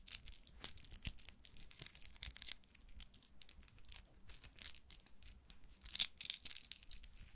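Fingers rattle, bend and rub the small solid links of a gold-tone metal watch bracelet. The result is a quiet, almost entirely high and bright stream of tiny metallic clicks and jingles that die away instantly, with sharper clinks near the start and again around the six-second mark.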